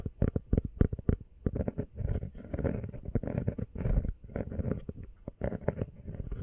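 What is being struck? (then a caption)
Rubber phone case. Long fingernails tap quickly on a small, hollow, empty teal rubber phone case. The result is a rapid stream of short, dull, muffled thuds with almost no ring, most of the sound sitting deep and low. Some stretches blur into a dense pattering run, and there is little brightness.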